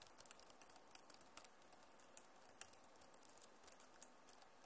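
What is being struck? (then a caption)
Plastic laptop keyboard keys. Both hands type and tap with fingertips and nails on the plastic keys of a backlit Acer laptop keyboard. The result is a quiet, steady patter of short, bright clicks with some scratchy texture and almost no ring.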